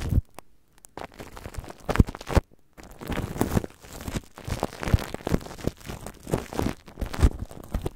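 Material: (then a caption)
Plastic film. Clear plastic cling film stretched over the metal grille of a red microphone is tapped, rubbed and crinkled by fingertips and long dark-painted nails. Dense crinkling and soft tapping crackles come through close and muffled, weighted toward low thumps, with brief pauses between bursts.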